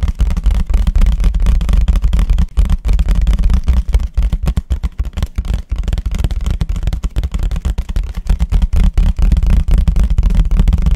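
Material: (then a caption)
Paper. A white paper plate, held facing forward, is tapped quickly on its eating side with the fingertips. The result is a dense, uneven patter of soft, low, dull thuds with almost no bright content. Each tap dies away quickly, and the pace stays steady and fast throughout.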